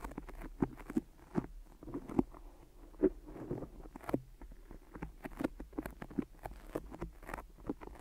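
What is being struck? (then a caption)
Adhesive tape over a microphone. Fingertips and nails tap quickly on microphone ears wrapped in white adhesive tape, each tap pulling away with a sticky release. The result is a fast, uneven run of soft, dull taps and tacky peeling crackles with short, dry decays.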